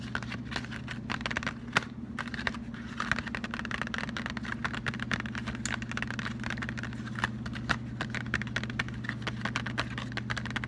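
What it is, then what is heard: Cardboard chocolate box. A closed, flat cardboard Lindt chocolate box is tapped rapidly with fingertips and short nails and turned over partway through to show the back label. The taps make a dense, quick, typing-like clatter of bright, dry clicks. A steady low hum runs underneath.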